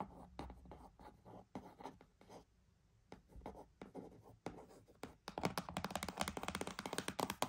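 A cardboard box is tapped and scratched for ASMR, starting with soft, spaced dry taps with short pauses between them. After about five seconds it builds into a louder, fast, continuous run of scratching and tapping with a brighter, papery texture.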